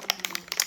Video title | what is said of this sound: 🇯🇵일본가면 무조건! ✈️쟁여오는 일본 최고 선크림!🌞 비오레, 아네사 이거 사오시면 됩니다. | 흔들어 보면은 이렇게 딸깍딸깍 소리가 나요